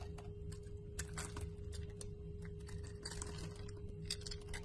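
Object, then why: Bar of soap. A utility knife blade scrapes and carves shavings off a solid, rectangular cream-white bar of soap held in the palm, its surface already scored, with the flakes crumbling away. Quick, bright crackling scrapes come one after another over a steady low hum and a faint constant tone.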